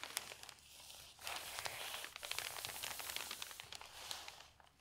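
An open paper newspaper lies on a table as a page is turned, then fingertips with long nails rub and smooth the newsprint flat. Bright, dry crinkling and rustling swell and fade, dotted with sharp little ticks of nails catching the paper. There is almost no low end, and the sound stays crisp and close throughout.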